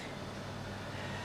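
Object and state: Nothing is struck.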